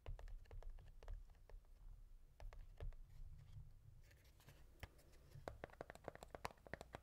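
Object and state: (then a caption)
Cardboard matchbox, full. A small rectangular Redbird cardboard matchbox of 250 matches, closed and full of wooden matches, is held in one hand and tapped with the fingertips of the other on its top and sides. The result is a quick, uneven series of soft, dry, hollow taps with bright clicky edges that die away almost instantly, over a low, steady rumble.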